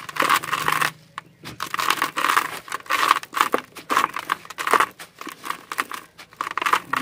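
A large, dry, solid sand-cement chunk is crumbled by hand with the fingertips over a plastic basin, its grains falling onto the sand pile below. Dense, gritty crackling and scratchy crumbling come in irregular bursts, with a bright, dry texture and a brief quiet pause near the first second.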